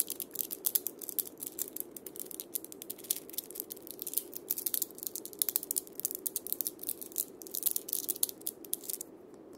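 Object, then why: Wooden cabasa with steel bead chains. A single wood and steel-bead cabasa is held in one hand while fingertips tap and scratch its wooden top disc and steel bead rows. Quiet, rapid, bright clicks and dry rattling crackles run almost continuously over a soft, steady midrange scratching wash. The clicks thin out and drop away in the last moment.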